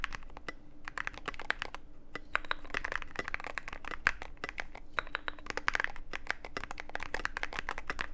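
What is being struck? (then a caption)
Mechanical keyboard with plastic keycaps. Fingertips of both hands type continuously on a mechanical keyboard with plastic keycaps and a dark case. The result is a dense, steady stream of short, sharp clicks and clacks with bright, crisp tops over a faint low hum.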